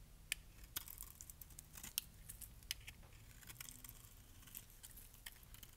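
A metal blade cuts thick flakes off the surface of a solid green bar of dry soap. Quiet, irregular crisp snaps and scraping crackles ring out with a bright, dry edge and no ring-out, with a few sharper cracks standing out over a faint low rumble.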